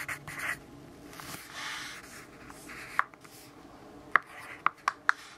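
A yellow graphite pencil writes on the page of an open grid-paper notebook resting on a wooden desk. Soft, papery scratching strokes fill the first half, followed by several sharp, bright ticks of the pencil tip against the paper near the end.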